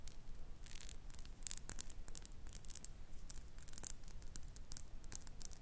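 Long nails tap and scratch a small faceted glass perfume bottle with a metal cap, partly filled with amber liquid and held close to the mic. Quick, irregular bright clicks and brief scratchy rustles repeat over a quiet, steady low rumble.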